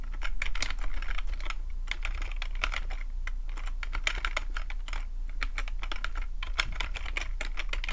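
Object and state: Plastic computer keyboard.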